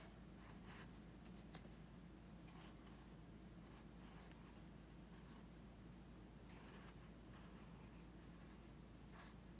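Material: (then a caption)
Paper. A pencil tip scratches short strokes across the page of an open paper sketchbook resting on a teal folder on carpet. Soft, bright scratchy bursts rise and fall over a very quiet, steady low hum that runs throughout.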